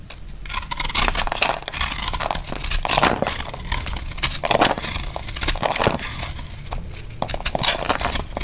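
A small knife carves crumbly shavings from a solid, dry, powdery orange-white soap bar held in the hand. A steady run of dry, crackling scrapes with bright, hissy edges and a faint low rumble underneath. The strokes blur together with no gaps.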